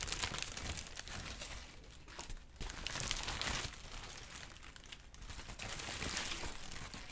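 A large, thin sheet of pale yellow-green crinkled tissue paper is held up and crumpled and rustled with both hands. The result is a steady, bright crackling crinkle that swells and eases in waves, loudest near the start, around the middle and near the end, with brief quieter dips in between.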